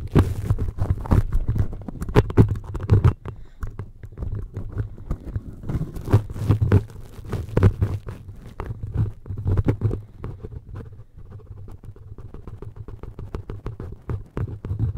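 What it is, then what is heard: Metal mesh microphone grille. Fingertips of both hands rub and scratch the perforated metal mesh grille of an upright red and black microphone with a hollow capsule housing. The result is a dense run of boomy, low-heavy scratching and tapping thumps with almost no high end, loudest in the first few seconds and then settling into softer, steady rubbing with occasional sharper scrapes.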